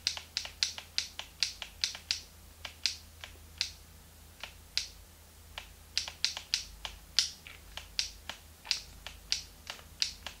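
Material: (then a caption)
Plastic. A small, hollow, translucent pink plastic Game Boy Advance is held in both hands while thumbs and fingertips rapidly click its plastic buttons and shoulder triggers. About 33 sharp, bright, dry clicks come in quick irregular bursts, each dying away almost instantly, over a faint low hum.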